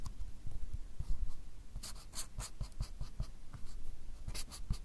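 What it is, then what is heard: Pen drawing on a paper card pad. A fine-tip drawing pen makes continuous short scratching strokes across a small, solid white paper or card pad held by the fingertips. Soft, dry scratches with bright, hissy edges come in quick bursts over low, muffled taps from the pad.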